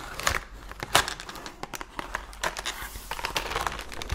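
Long nails rapidly tap and scratch the sides and front of a full cardboard Oreo cookie box held up close. Quick, uneven papery clicks and crinkly scrapes run throughout, with a few sharper, brighter taps standing out.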